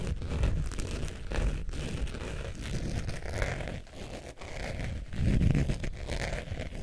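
A beige saffiano faux leather zip wallet is held upright while long nails scratch across its surface. The result is a steady, dense, crinkly scratching, with most of its weight in the low end and only faint brightness, swelling louder near the end.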